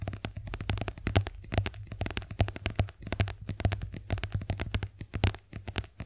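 A white soft plastic squeeze tube of face wash cream, hollow and partly filled, is held upright and tapped with long acrylic nails. It gives a rapid, uneven run of quick clicky taps with a low hollow thump, about 98 Hz, under each one.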